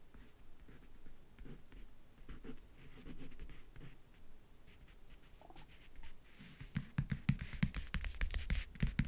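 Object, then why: Faux-leather covered backgammon case. Painted nails and fingertips tap and scratch the lid of a closed, hollow rectangular backgammon case covered in map-print faux leather, near its lower edge. Soft, quiet scratching for the first six seconds gives way to a quicker run of louder, sharper taps with a low, hollow thud and brief clicky highs, each dying away almost instantly.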